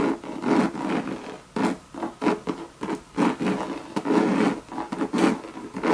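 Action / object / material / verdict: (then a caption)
scrape / coated canvas handbag / coated canvas / none. Long red nails scratch and tap a hollow Louis Vuitton monogram bucket bag made of coated canvas. The result is a series of rough, dry scratching bursts with a hollow midrange body and very little ring, separated by short pauses.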